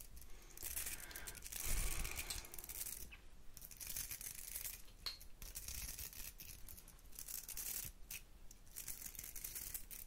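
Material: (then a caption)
Metal, bristle. Long nails scratch the bristles of a round hair brush with a metal barrel, close to the microphone. The result is a steady stream of dry, bright scratching and raking bursts with short gaps, over a faint low rumble.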